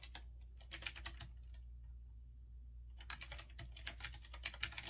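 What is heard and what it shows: Fingertips press the keys slowly on a retro typewriter-style mechanical keyboard with round, chrome-rimmed keycaps. Bright, clicky keystrokes come in bursts, with a quiet pause around the middle before typing resumes more densely, all over a steady low hum.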